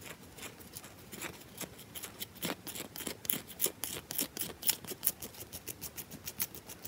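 Long nails scratch and tap fast and hard on a round, solid bar of soap with a wedge carved out of it. About 29 crisp, bright clicks and scratchy strokes come in a quick, uneven stream, each dying away almost at once, some louder than others.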